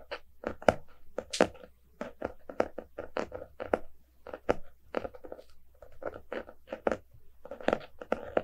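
A small, solid closed hardcover book with a glossy cardboard cover is held in both hands while fingertips and nails tap and scratch its front cover. The result is a quick, irregular series of dry, crisp taps and short scratching strokes with almost no ring, centered in the midrange around 600 Hz.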